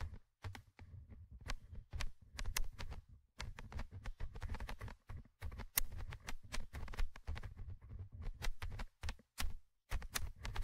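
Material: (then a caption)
Metal mesh. A thin orange stick scratches the small metal mesh microphone grille of a Tascam handheld recorder in short bursts. The close scraping is dominated by a heavy low rumble, with sharp bright ticks and brief silent gaps between strokes.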